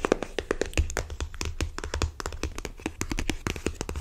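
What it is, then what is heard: Cardboard card box. Long nails tap rapidly on a small rectangular printed cardboard box for an oracle card deck, likely holding cards, held in hand, while fingertips rub its surface. The taps are short, dry and hollow, with a soft low thump and almost no ring, set against a faint rubbing texture.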